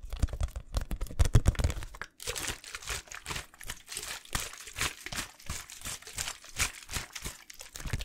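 An empty small clear plastic water bottle with a blue label is held in one hand and squeezed and crinkled close to the mic. For about two seconds it makes deep, thumping crunches, then after a brief pause a steady run of bright, crackling crinkles.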